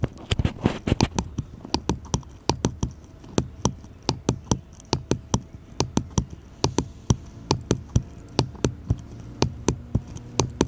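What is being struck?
Small wooden bottle-shaped cutout.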